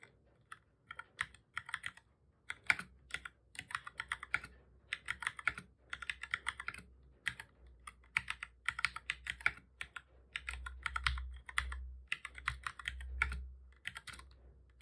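Fingertips of both hands type on a black full-size plastic computer keyboard, pressing keys over and over. Quick, bright, clicky taps come in rapid bursts separated by short pauses, each tap dying away almost instantly. A faint low hum runs underneath and swells slightly toward the end.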